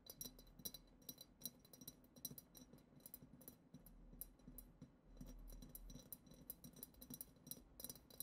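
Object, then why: Glass goblet. Long acrylic nails tap rapidly on the lower bowl of a hollow, clear, glitter-decorated glass goblet. The result is a quick, uneven series of light, bright clinks with very short ring, over a faint low hum.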